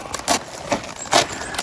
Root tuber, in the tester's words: เสียงอื้อหือกรอบมากเลยนี่